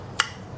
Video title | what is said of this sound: BILED PALING RECOMEND‼️ IBRIGHT ZE 11 X 2,5INCH 50/60WAT | suaranya keras tebal ya, kedengaran